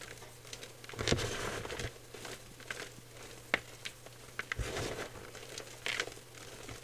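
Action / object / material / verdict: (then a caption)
scrape / gym chalk powder (magnesium carbonate) / chalk powder / none. Fingers with nails pinch and squeeze dry, crushed white gym chalk powder (magnesium carbonate) in a clear bowl. The result is soft, crackly crunching and crinkling with scattered sharp, bright clicks over a faint, steady low hum.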